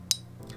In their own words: i'm tapping it with a magnet just to show you that it is steel